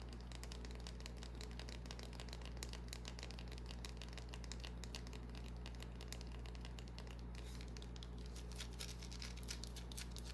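Long nails scratch and tap a small solid white bar of soap, with soap shavings resting in the palm. Dense, bright crinkly scratches and light clicking taps run continuously over a steady low hum. The whole clip stays quiet and even.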